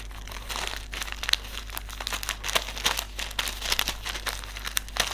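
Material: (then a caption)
Paper film. Fingertips squeeze, crinkle and rub a small white silica gel desiccant sachet filled with silica beads. Dense, bright crinkling and soft crunching come in quick bursts over a steady low hum, with each sharp crackle stopping almost instantly.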